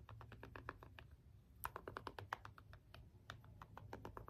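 The rubbery buttons of a small hollow plastic LED remote are pressed and tapped with the end of a small green jade stone roller. This gives a quick, uneven series of short, dry, clicky taps with a mid-range knock around 1 kHz, each dying away almost at once over a faint low hum.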